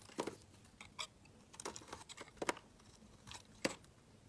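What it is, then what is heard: Bar soap shaved with a knife. A utility knife blade shaves flakes off a solid, light-blue, palm-sized oval bar of soap held in the hand. The result is an irregular series of short, crisp scraping cuts with a bright, papery edge. Quiet gaps fall between the cuts.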